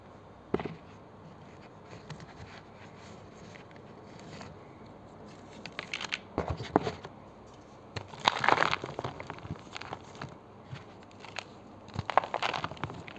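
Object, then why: Gym chalk blocks. Bare fingers and palms press, crush and rub several small solid bluish-grey gym chalk bars in a green plastic tray, crumbling them into powder. Scattered dry crackling and crunching bursts come in uneven clusters over a quiet background. The loudest, densest crumbling lands in the second half.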